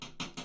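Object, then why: Desktop computer case. A desktop computer case sitting under a desk is tapped three times. Each tap is a short, hollow knock with a bright, airy top and a low body.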